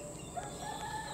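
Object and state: Nothing is struck.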